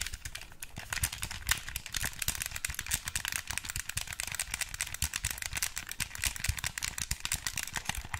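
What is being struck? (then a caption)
Plastic hand-held game controller. Fingertips and nails rapidly tap and press the buttons and body of a black wired Xbox 360 controller, a hand-sized, hollow plastic controller held close to the mic. The result is a dense stream of short, dry, bright plastic clicks and taps with a light rattle and low thumps underneath.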